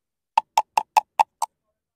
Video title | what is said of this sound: A Dead Oyster Sounds Like... #seafood #chesapeakebay #oysters | if it sounds hollow like that, most likely that thing is bad because there's no water in it